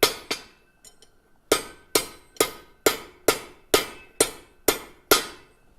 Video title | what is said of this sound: LIVE: Treadle Hammer Giveaway Livestream | kind of tinny um it doesn't have a ring